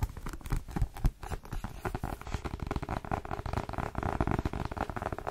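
Long fingernails tap rapidly on the glossy card cover and edges of a dark, solid paperback copy of "The Twin" held in both hands. The result is a dense, steady patter of short, dry clicks with a soft, low thud underneath, each tap dying away almost instantly.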